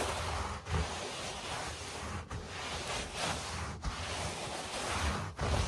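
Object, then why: Low-pile carpet. Fingertips and short nails tap and scratch on a low-pile beige and grey speckled carpet, recorded close up. A steady, dense rasping hiss runs throughout with a soft low rumble beneath it, broken by brief dips and a few slightly louder swells of scratching.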